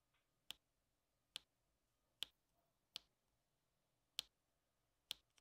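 A plastic drill pen loaded with black resin drills taps them one by one onto the sticky surface of an adhesive diamond painting canvas, which already holds rows of black drills. Six quiet, sharp, bright clicks centered around 3.4 kHz, each very short with almost no ring, arrive at irregular intervals over a near-silent background.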